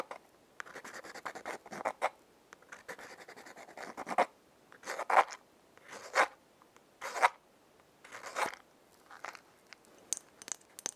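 A small, hollow, yellow printed Lion-brand cardboard matchbox is held in one hand while long painted fingernails scratch and rub its striking side and faces. Soft, papery scratching and rubbing strokes come in uneven bursts, with a few sharper, brighter scrapes standing out toward the end.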